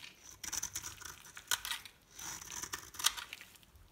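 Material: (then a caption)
Soap. A metal knife blade scrapes and scores a solid rectangular bar of dry green soap held in the hand, leaving shavings on the table. Quiet, bright, crackly scraping comes in uneven bursts, with sharper scratches standing out near the middle and end.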